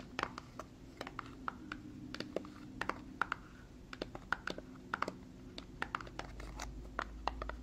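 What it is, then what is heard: Cardboard product box. Long fingernails tap and scratch a small, hollow, dark glossy paperboard box of Tarte cosmetics packaging held in one hand. It makes an irregular run of crisp, dry clicks with a bright tone near 1.4 kHz, with soft scratching between taps. Each tap dies away almost instantly.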